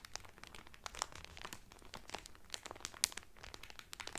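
Fingertips press and crinkle the clear cellophane wrapper around a blue Carnival cotton towel folded flat. The result is a dense run of bright, crackling snaps and rustles, with sharp high pops standing out over a quiet background.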